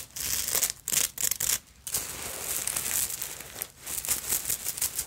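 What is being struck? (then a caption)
Fabric evening purse covered in glass beads and sequins. A small black vintage evening purse, hollow and covered in glass beads, sequins and bead fringe, is scratched and tapped with long acrylic nails. The result is a dense, bright, crinkly rustle of clicking beads with short pauses between bursts.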